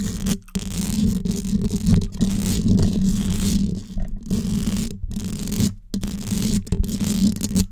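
Long yellow nails scratch and tap across the hollow domed steel mesh grille of a large gold condenser microphone. The result is a close, continuous scraping rustle with a low hum around 150–200 Hz. Brief silent gaps break it up.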